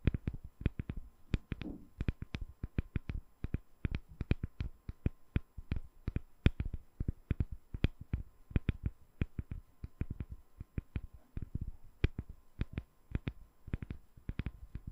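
A solid, palm-sized translucent glycerin soap bar with embedded colored balls is held over a microphone and tapped with long nails. About sixty quick, dry taps come in an uneven steady stream across the clip, each a dull low thump topped by a brief bright click of the nail. The taps die away almost instantly with no ring.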